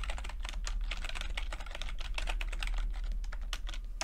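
Fingertips tap the plastic keycaps of a backlit chiclet computer keyboard in steady, rapid typing. The keystrokes come as quick, crisp clicks that run together in a constant patter, over a low, steady hum.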